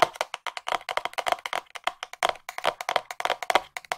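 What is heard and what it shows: A small, hollow white cardboard box is held in front of the microphone and tapped with long nails, giving about thirty quick, dry clicks in an uneven run of fast and slower taps. Each tap has a hollow tone near 690 Hz with a bright clicky edge, almost no low end, and dies away almost instantly.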